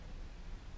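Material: Nothing is struck.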